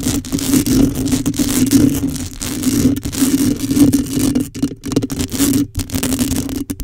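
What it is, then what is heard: Metal mesh microphone grille. Long, pointed acrylic nails on both hands scratch the bare hollow metal mesh grille of a black microphone. The result is a dense, continuous scratchy rasp with a steady hum-like tone around 285 Hz, swelling and fading in rough waves with a few brief near-silent gaps.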